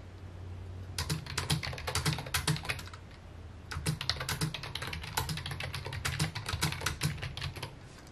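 Fingertips tap the keys of a full-size white and mint plastic computer keyboard with hollow key housings, resting on a wooden desk. Quick, irregular clicky keystrokes come in two bursts, separated by a short pause around the three-second mark. Each click is bright and dies away almost at once over a steady low hum.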